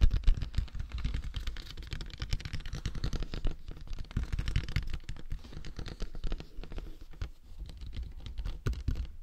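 Fingertips tap and scratch across the top and front of a large, hollow, matte black plastic dummy head microphone with silicone ears. The result is a dense, continuous stream of soft, muffled tapping with deep low-end thumps, quick dry decays and faint scratchy texture above.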